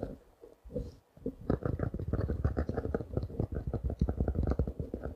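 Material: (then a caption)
Plastic, paper. A small spiral notebook covered in clear plastic wrap is held in the hands and tapped and scratched with fingertips and short nails. After a quiet, sparse start, a rapid, steady run of soft, dull taps follows, with crinkly scratching, mostly low in pitch and dying away almost instantly.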